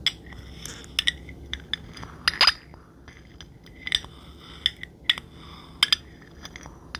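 A jade roller's stone head and metal frame are scraped and tapped along the body of a clear, empty glass drink bottle with a blue label, held by the neck. Bright, high clinks ring out in an irregular series of short taps, with a louder scraping rub near the middle. Each tap dies away almost instantly over a faint low hiss.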